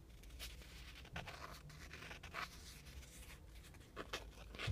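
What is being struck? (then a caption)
Thin printed cardboard air freshener. A small, flat, shield-shaped printed cardboard car air freshener, thin and solid and hanging on a string, is scratched and tapped with fingertips and nails. Quiet, dry scratching strokes and light taps come in short bright bursts that die away almost instantly over a steady low hum.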